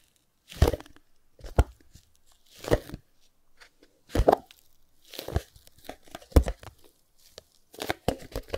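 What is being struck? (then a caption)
Small closed cardboard box. A small, closed white cardboard Chromecast box is held in both hands while fingertips tap and rub its faces. This produces short, dull, low thumps mixed with dry, scratchy rubbing, in bursts separated by quiet pauses.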